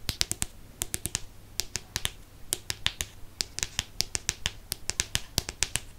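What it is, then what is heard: Hardcover book, fingernail tapping. Fingernails rapidly tap the cover of a Chamber of Secrets hardcover book held up close. About thirty sharp, bright clicks come in quick, uneven bursts over a faint low hum, each dying away almost instantly.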